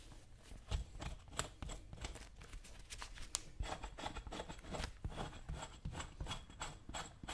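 A dull metal chisel is scraped over the vamp and toe leather of a brown leather work boot worn on a foot, while the other hand steadies the boot. Repeated short, dry scraping strokes come through with bright, crackly edges over a low thudding body, each stroke dying away almost instantly. A faint high steady whine runs underneath.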